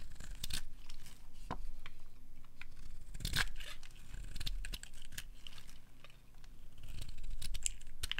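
A metal blade scrapes along the end of a solid, dry, pale green soap bar held in the hand, peeling off curls. Crisp, crunchy scraping and tearing bursts with bright edges repeat over a steady low rumble.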